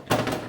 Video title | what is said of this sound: Oldfarm brown soda bread | if you listen a hollow sound that means your breads done